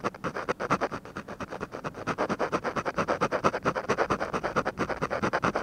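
A ballpoint pen held in a hand scratches small shading strokes on the eye area of a flat paper drawing sheet resting on a desk. About 49 quick, separate scratches repeat in a steady rhythm, each a dry, papery rasp centered in the midrange around 1.2 kHz, with little low rumble or high hiss.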